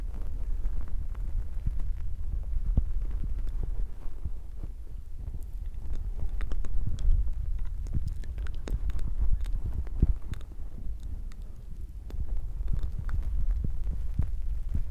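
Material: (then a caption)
Foam. Fingertips of both hands rub a soft, porous black foam microphone windscreen, making a dense, muffled low rumble. Soft thumps and faint crackling scratches run through it, swelling and fading over the rubbing.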